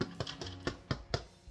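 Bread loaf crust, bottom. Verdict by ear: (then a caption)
Hollow. The bottom of a no-knead bread loaf is tapped several times, each tap a short, dull, hollow thump with a low body and almost no ring. The hollow sound shows the loaf is baked through and done.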